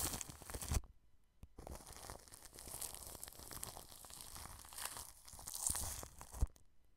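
A wide flat paintbrush brushes and sweeps over plastic cling film wrapped around a round microphone. The result is close, crinkly rustling with a scratchy, tearing texture and a low rumble underneath. A brief burst opens the clip, followed by a short pause, then steady sweeping that builds and ends with a sharp crackle near the end.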